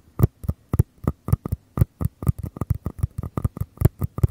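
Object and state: Mini paper cups tapped.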